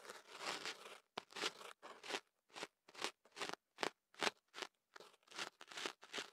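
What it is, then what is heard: Kenaf paper crinkling around a microphone. A thin pick held in the fingertips scratches and rubs inside the end of kenaf paper wrapped around a microphone held on a table. It makes crunchy, crinkling bursts of bright, dry rustle, starting with a longer rub and then breaking into a run of short, uneven strokes separated by brief silences.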